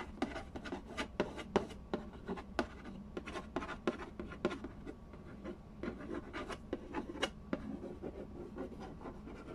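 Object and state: Cardboard game box.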